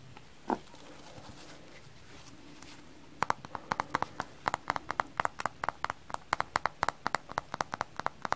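A frozen-solid kitchen sponge is tapped: one isolated tap comes first, and after a pause, a quick irregular series of hard, dry taps follows. Each tap is short and clicky, ringing around 1 kHz with a hollow, clip-clop-like knock and almost no decay.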